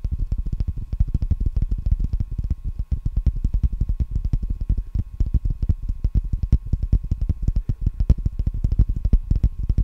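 A wide roll of clear plastic packing tape, a hollow ring on a cardboard core held in both hands, is tapped rapidly with the fingertips and nails around its outer surface. The taps come as a steady stream of short, deep, hollow thumps with almost all their weight in the low end, each dying away almost instantly, with faint brighter clicks on top.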